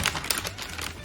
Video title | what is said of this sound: ลองใช้ MacBook Pro 16 ชิป M1 Max แรม 64GB สาย Content Editor แรงเหลือ ๆ สู้งานมาก ! | เคาะเคาะอย่างเป็นกระดาษนะ